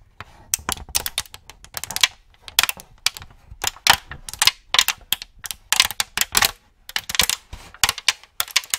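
An empty, thin, clear plastic cookie tray is held in both hands while fingertips tap and press its molded cavities, crinkling it. Sharp, bright crackles and clicks come in quick, irregular bursts, each dying away almost instantly with almost no low end.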